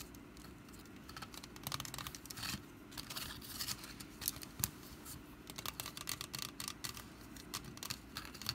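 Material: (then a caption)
Wicker. Long nails scratch and tap the woven surface of a small, hollow, orange wicker pumpkin basket, which is first held and then set on a mat. The result is a quiet stream of dry, crackly scratching and quick, bright taps that come in short, uneven bursts over a soft, steady low hum.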